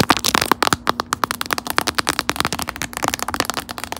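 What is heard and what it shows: Long acrylic nails tap and scratch the raised puffy panels of a metallic lilac, glossy, quilted plastic puffer phone case, which is hollow-backed and phone-sized and fitted on a phone held in a stand. A fast run of sharp, dry clicks with a hollow, plasticky knock around 1 kHz cuts off almost instantly, mixed with bright scratchy crackle. A faint steady low hum runs underneath.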